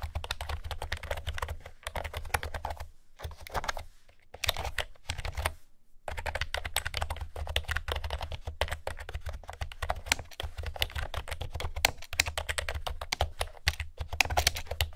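Fingertips and nails type rapidly on a blue plastic keyboard with round keycaps, making dense, sharp clicky taps with bright highs. The typing stops in short pauses near three and six seconds, while a steady low hum runs underneath.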